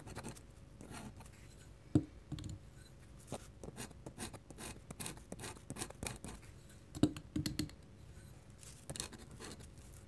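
A fine metal pen nib scratches repeated short hatching strokes across a large, flat white paper sheet resting on a table. The result is a quiet, dry, rapid scratching with many quick onsets, punctuated by sharper ticks around 2 and 7 seconds.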